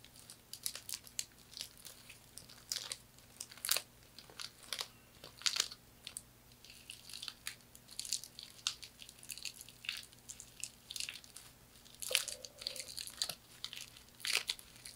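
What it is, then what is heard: Woven straw hand fan. Long nails scratch across the surface of a thin, light, flat hand fan of woven palm or straw in a herringbone weave. Dense, bright, crinkly scratching comes in quick irregular bursts with almost no low end, over a faint steady hum.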